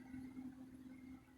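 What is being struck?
Nothing is struck.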